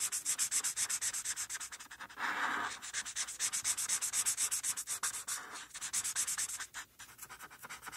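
A felt-tip marker is rubbed in short, quick strokes on a flat white paper coloring sheet resting on a dark surface, coloring near the pony's eye. A steady run of bright, dry scratching strokes comes at an uneven rhythm of roughly two to three per second. Around the two-second mark, one longer, fuller swish briefly breaks the pattern.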